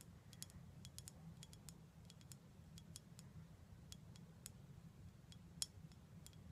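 Long black acrylic nails tap rapidly on a full-looking dark glass syrup bottle with a gold foil neck and a label. The quick, sharp, high-pitched clicks stop almost instantly, layered over a steady low hum.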